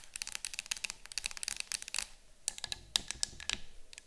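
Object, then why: Cardboard canister. Long fingernails on both hands tap and scratch the front and sides of a yellow cylindrical cardboard citronella canister standing on a table. The result is a quiet, rapid run of dry, bright, clicky taps with light scratching, with no ring, and a brief lull just after two seconds before the tapping resumes.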